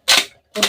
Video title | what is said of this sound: एक किलो उडिद मुंग डाळीचे पापड, घरगुती मसाला घालून संपूर्ण रेसिपी, 1 kg Udid Mung Papad | छान असा कुरकुरीत आवाज येतोय